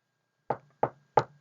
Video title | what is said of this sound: 한국외대대학원 한국 문화의 이해 3강 3 1 | 이 책상을 두드리는 소리는 탁탁탁이구나